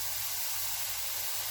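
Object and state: Nothing is struck.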